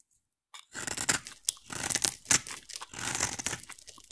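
A utility knife blade carves a solid, hand-sized oval bar of green soap, shaving off curls. After a brief silence, a run of crisp, bright scraping and crunching shaves follows in irregular bursts. The strokes are dry and close with almost no low end or ring.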